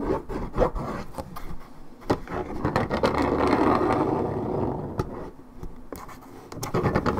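Long red acrylic nails scratch the top side of a hollow Minute Maid orange juice carton, about 1.5 L, made of coated paperboard. Quick, uneven scratching strokes and sharp taps mix with a dense, mid-toned scraping rub. The rub swells in the middle before the strokes pick up again at the end.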